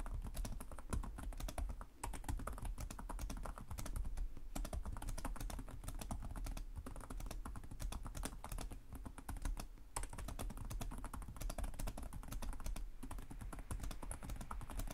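Fingertips of both hands tap rapidly on the low-profile plastic chiclet keys of a black laptop with a hollow body, typing continuously. The result is a dense, steady stream of quick, soft clicks with a dull, low, thumpy body and short decay.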